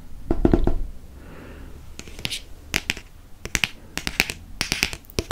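Fingernails tap quickly on the moon-illustrated cover of a hardcover paper book, making sharp, dry clicks with a bright edge that stop almost instantly. Early bursts of rapid taps give way to a soft, hissy brushing stretch, then more scattered crisp taps in irregular clusters.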